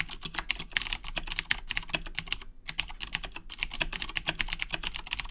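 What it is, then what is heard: Mechanical keyboard, clicky switches. Both hands type continuously with their fingertips on a black plastic Razer BlackWidow 2010 Edition mechanical keyboard with Cherry MX Blue switches. Rapid, sharp, bright clicks die away instantly, with a brief pause just past halfway.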